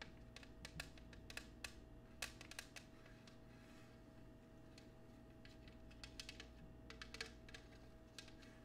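Long nails tap and scratch the star-patterned foot and base of an empty clear cut glass oval dish held in the hand. Quick, sharp, bright clicks with a glassy ring near 2.6 kHz come in scattered bursts and die away almost at once. A steady low hum and a faint constant tone run underneath.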